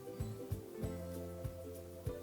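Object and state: Nothing is struck.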